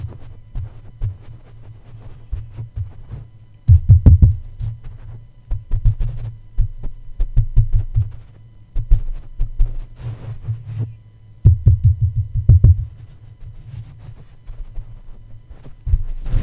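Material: Metal mesh.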